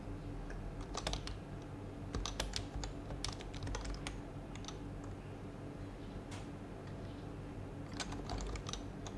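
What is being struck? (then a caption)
Plastic mechanical keyboard with plastic keycaps. Two hands type steadily with their fingertips on a white HHKB plastic mechanical keyboard with plastic keycaps and a hollow plastic case. Bright, clacky keystrokes come in quick irregular bursts over a steady low hum.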